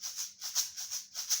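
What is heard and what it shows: A homemade shaker, a plastic cup with a screw-on lid filled with rice, is shaken in four quick bursts. Each shake gives a bright, hissy rattle of rice grains concentrated in the high frequencies, with almost no low end, making a proper shaker sound.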